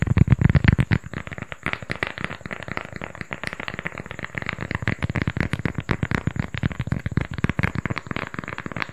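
A small, flat, solid round cork coaster is held in both hands close to the mic and rapidly tapped and scratched with fingertips and nails. The result is a dense stream of dull, low, woody taps mixed with soft scratchy crackles, loudest in the first second and then steady, with a faint, steady high tone running underneath.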